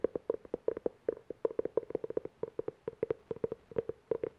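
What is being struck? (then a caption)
Cloth-covered hardcover book. Fingernails tap and scratch quickly on the cover of a navy-blue cloth-covered hardcover book held at shoulder height. About 29 short, dry taps come in a fast, uneven run, each with a muted tone around 460 Hz and no ring.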